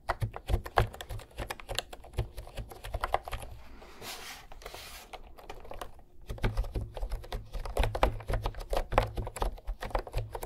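Fingertips tap and type on the round pastel keys of a cream plastic retro keyboard held upright between microphones. Quick, dry clicks with a low, hollow thump come in dense bursts, easing into a softer, steady rustle midway before the typing picks up again.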